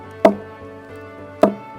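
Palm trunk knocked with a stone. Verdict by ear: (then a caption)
Hollow. The trunk of a Phoenix palm at Castleton Gardens is knocked twice with a stone, giving two short, hollow, woody knocks with a mid-pitched tone that dies away quickly over a low steady hum. It sounds this way because the trunk is hollow inside, and the hollow grows larger as the palm ages.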